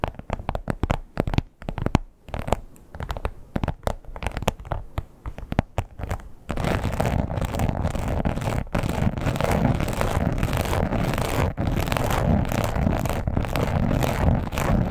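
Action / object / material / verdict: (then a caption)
scrape / textured leather wallet / leather / none. Long pointed acrylic nails on both hands scratch a red croc-embossed leather wallet lying flat. Brief, separated scratchy strokes with short pauses give way after about six seconds to steady, continuous rough scratching. The sound is dry, close and mostly low in tone.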